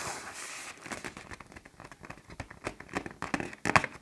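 A large black plastic garbage bag, inflated with air into a taut hollow shape, is tapped and scratched by fingertips and nails on its stretched film. A soft, bright rustling hiss opens the clip, followed by a string of irregular crackling pops and crinkles that grow louder toward the end, with the sharpest pop near the close.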